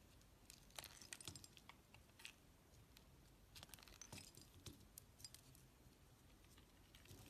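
A hand with long pale nails holds a solid rectangular brown laundry soap bar with embossed lettering, surrounded by shaved soap curls, while a metal utility knife blade scrapes and shaves its surface. Quiet, crisp scraping and crackling ticks come in irregular bursts, bright and dry with a soft low rumble underneath.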